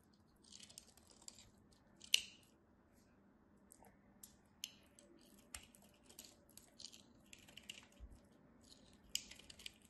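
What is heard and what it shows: A solid, palm-sized pale yellow bar of soap is held in the hands and carved with a metal craft knife, peeling off thin slices and flakes. Soft, crisp scraping and clicking sounds come in short bursts, with a sharp snap near the two-second mark and another near nine seconds. The sound is bright, high-pitched and quiet.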